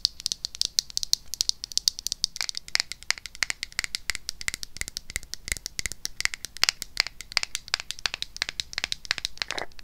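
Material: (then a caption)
Plastic. A small pink plastic cleansing-balm jar with a white lid, held in the hand, is tapped and scratched with long acrylic nails. The result is a rapid, continuous run of short, bright clicks and scratchy crinkles, mostly high-pitched with almost no low end, each tap dying away instantly.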